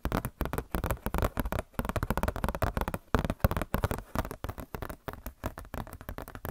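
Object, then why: Glossy paper catalog booklet. Long nails tap and scratch across a glossy paper Blizzard Shop catalog booklet in a quick, uneven run of short, dry taps. The sound is dull and low-heavy, with little brightness, and each tap dies away almost at once.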